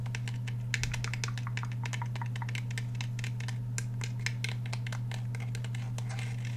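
Fingernails tap rapidly on the steel slide and polymer grip of a handheld black Glock 17 pistol. The result is a fast stream of light, bright clicking taps over a steady low hum.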